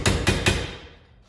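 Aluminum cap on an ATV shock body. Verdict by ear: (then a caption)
Seated. An aluminum cap on an ATV shock body is tapped down with a hammer during reassembly. Three solid, thudding taps are heard, with energy concentrated in the low range, each decaying quickly. The tone changes as the cap bottoms out and is fully seated.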